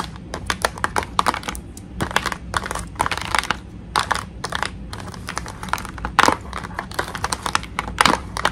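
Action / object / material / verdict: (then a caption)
tap / clear plastic blister package / plastic / none. Long nails tap and rub across the front of a clear plastic blister pack holding a toy tea set. The result is a quick, uneven run of dry, crisp clicks and crinkly scratching with bright edges that stop almost instantly, over a faint steady low hum.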